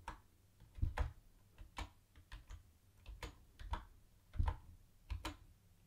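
A mint-green plastic retro keyboard with round white plastic keycaps is typed on with the fingertips of both hands. About sixteen separate key presses come through as soft, low, thuddy clacks, each with a faint bright tick on top. Every press dies away almost at once, leaving a quiet, steady stream of typing.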